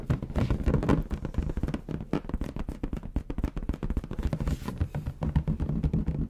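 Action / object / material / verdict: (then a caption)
tap / inflated latex balloon / latex / none. A large, hollow, air-filled bronze metallic latex balloon is held close and tapped and rubbed with the fingertips. It gives a quick, steady run of soft, boomy low thumps with short rubbing swishes between them, each tap dying away almost instantly.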